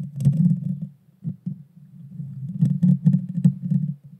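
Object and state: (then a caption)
Metal mesh microphone grille. Long painted fingernails scratch the bare metal mesh grille on the hollow head of a small pink Blue Yeti Nano USB microphone. The result is a dense, low rumbling scrape with crackly bursts and bright clicks. It comes in two rough waves separated by a brief quieter pause around the middle.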